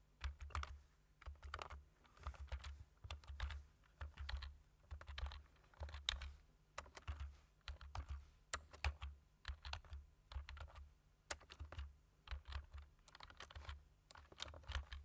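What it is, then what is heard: Plastic computer keyboard being typed on. Fingertips tap the keys of a black plastic computer keyboard with a hollow body while typing, making quick, dry clicks in uneven bursts. Each tap is short, with a soft low thump beneath a bright, crisp click that stops almost at once.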